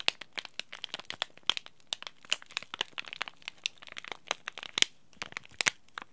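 A small green laminated plastic-foil tea bag packet, held in both hands, is crinkled and scratched by fingers and short nails. A dense, irregular run of sharp, bright crinkles and crackles, each very short, sits over a quiet background with almost no low end.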